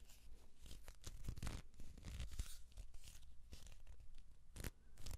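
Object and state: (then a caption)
Cardboard tube. Hands grip, rub and twist along the length of a hollow kraft cardboard tube with an open end. The result is a continuous dry scraping and rustling, broken by brighter, tearing-like bursts over a low, hollow rumble.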